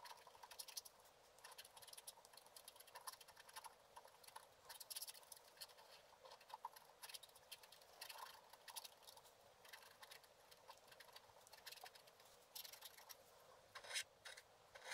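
A wooden stylus scratches fine lines into a lotus flower on a hand-held, flat scratch-art paper card, a sheet with a black coating over a colored layer. Quiet, dry, bright scratching comes in rapid, short strokes with a light, papery hiss, all in the upper range with almost no low end. The strokes stop instantly with no ring.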